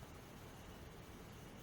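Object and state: Nothing is struck.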